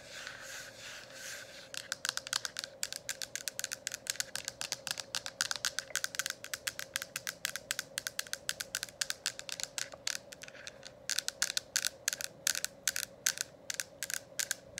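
Long acrylic nails tap rapidly on a hollow, lit plastic diffuser dome cover. After a soft, brushy opening, a dense run of sharp, bright clicks continues in quick bursts, with a faint steady hum underneath throughout.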